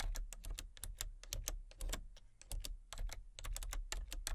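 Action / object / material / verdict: tap / plastic computer keyboard / plastic / none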